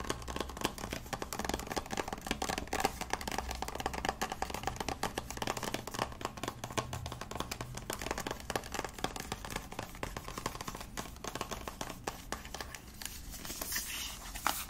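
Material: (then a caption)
Plastic. A small white plastic cosmetic squeeze tube with a cap, hollow and likely partly full, is held in the hand and rapidly scratched and tapped with nails and fingertips. The result is a dense, steady stream of short, dry, clicky taps and scratchy rustles with almost no ring, plus a faint low hum underneath. Near the end the scratching turns brighter and hissier.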